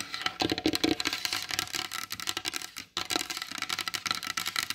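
Long blue acrylic nails tap rapidly on the glossy varnished top of a large solid wooden table. The result is a fast, dense run of bright, dry clicks with almost no low end and very short decay, broken by a brief pause near the three-second mark before the tapping resumes.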